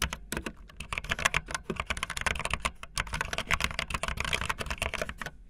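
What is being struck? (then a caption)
Plastic membrane keyboard. Fast typing on a full-size, backlit plastic Bluetooth membrane keyboard with white and blue plastic keycaps and a hollow plastic body, the keys pressed with fingertips and the tips of long painted nails. A rapid, uneven stream of bright, clattery plastic clicks comes through over soft low thumps from the hollow body. Each keystroke stops almost instantly with no ring.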